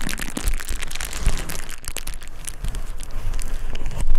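A clear plastic bubble wrap sheet is held flat by its edge with one hand while the other grips, crinkles and presses the bubbles. A continuous dense crinkling and crackling is heard, with scattered sharper crackles and low thumps throughout.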